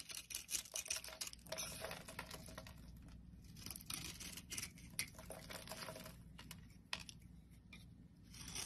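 A hand-sized solid oval pink soap bar with an embossed logo, held in the palm, is shaved into crumbly flakes with a metal utility blade. Quiet, bright, crackly scraping comes in rapid, uneven bursts with short sharp clicks, over a faint steady low hum.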